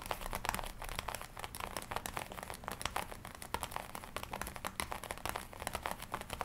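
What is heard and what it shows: Long nails scratch and tap across the chest and lapels of a glossy black leather jacket worn on the body. A steady stream of soft crinkles and creaks is punctuated by quick, dry taps with bright edges. Each tap dies almost instantly over a faint low hum.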